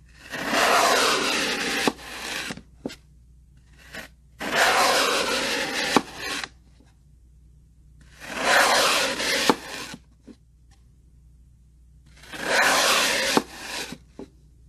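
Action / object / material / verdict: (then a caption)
scrape / floral foam block cut with a steel knife / floral foam / none. A steel kitchen knife slices thin layers from a solid green floral foam block on a wooden table, the cut slices stacking up beside it. Four broad, scraping, rasping cuts of about two seconds each come at a steady pace, with short clicks and taps between them.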